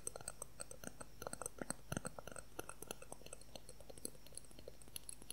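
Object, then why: Clear plastic ruler. A clear, transparent plastic ruler is held horizontally and tapped rapidly with the fingertips and nails. The result is a quiet, irregular stream of short, dry clicks, each dying away almost instantly, with bright high ticks over a soft low body.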